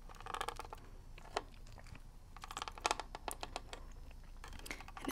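Long red nails tap rapidly on the shell of a hollow plastic NES game cartridge held in one hand. The result is quick bursts of dry, clicky tapping with a midrange plastic ring that dies away almost instantly.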